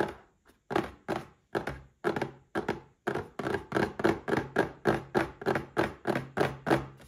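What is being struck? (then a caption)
Small cardboard gift box. Fingertips of both hands tap the sides and front of a small, rectangular printed cardboard gift box, the Paladone Mario Kart glass packaging, standing upright on a white table with a drinking glass inside. A quick, slightly uneven run of hollow, muffled thunks sounds with a mid-low resonant tone. Each tap dies away almost at once.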